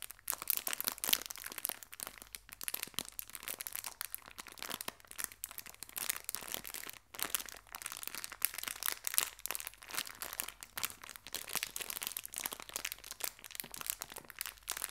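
A small clear plastic bag full of colorful hair ties is crinkled and squeezed in both hands with fingertips and long nails. A steady stream of bright, crisp crackles and crunches runs throughout, with almost no low end and only a brief pause near the middle.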